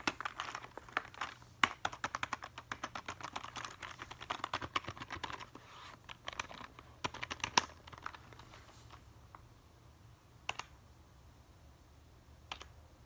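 Fingertips tap and press the keys of a full-size black plastic computer keyboard with a hollow housing in quick typing motions. The result is a rapid run of short, dry clicks and clacks, centered in the mids with bright edges. The clicking is dense for about the first eight seconds, then thins to a few isolated taps over a faint low hum.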